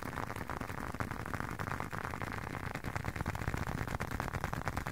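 A hand-sized, closed blue leather long wallet is held up near the microphone and tapped and scratched with fingertips and short nails. The result is a dense, uneven run of soft, dull taps and scratchy rustling with a low, thuddy body. Each tap dies away almost instantly, and there is little bright edge.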